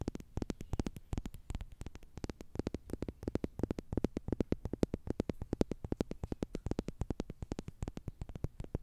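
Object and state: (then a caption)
Plastic tube toy scratched with nails. Long nails scratch a slim orange plastic tube toy with a green end, likely hollow, producing a rapid, steady stream of short, dry clicks and ticks. The taps are low and hollow-toned with almost no ring and no bright edge, over a quiet background hum.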